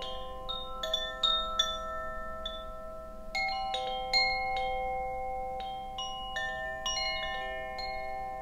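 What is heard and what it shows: A bamboo Koshi wind chime, a hollow bamboo tube chime with a wooden clapper, is held by its cord and shaken. Its clapper strikes at irregular intervals, giving bright, pitched tones around 3.5 kHz. The notes overlap and sustain into a layered, shimmering wash.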